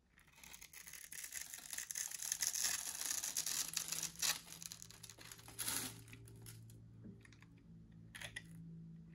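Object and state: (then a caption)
Dry soap bar being scored with a blade. A metal box-cutter blade scores the surface of a solid, dry orange soap bar held in the hand into a grid of small cubes. The blade makes a dense, bright, crunchy scratching and carving sound that builds over the first few seconds, then thins into sparser crunches over a faint low steady tone.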